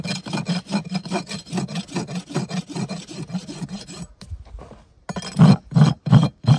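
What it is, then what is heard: Horse hoof being rasped. A long steel farrier's rasp is drawn with two hands across the solid keratin wall of a shod horse hoof resting on a hoof stand. Quick, steady rasping strokes with a low, gritty scrape run for about four seconds, then pause briefly. Four louder, heavier strokes follow.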